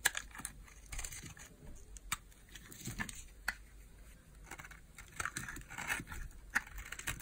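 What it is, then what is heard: Bar of soap being shaved with a blade. A small, solid bar of old, hard peach soap is held in the hand and shaved with a utility knife blade, cutting slices off. The blade makes quiet, dry scraping with crisp, bright clicks and crackles. Sharp snaps stand out irregularly as each slice breaks away.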